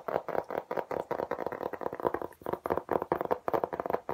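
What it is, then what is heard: Hard plastic laptop case. A flat, thin, pale grey-green hard plastic laptop case with an embossed diamond pattern, about tablet or laptop size, is held upright in both hands and tapped quickly with the fingertips. The result is a fast, steady run of dry, hollow taps with a mid-range tone around 500 Hz, each dying away almost instantly.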